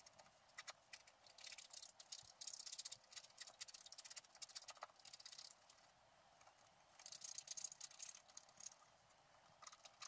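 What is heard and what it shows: A wooden stylus scratches leaves into a flat scratch-art card of black-coated paper. Quiet, bright, dry scratching comes in irregular bursts of short strokes, with a near-silent pause in the middle before a second busy stretch.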